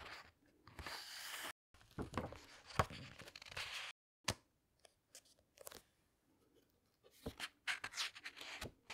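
Hands with long nails lift, turn and press the glossy paper pages of a large hardcover book. Soft, crinkly rustles and swishes of paper alternate with sharp, bright taps and short crackles, separated by brief silent gaps.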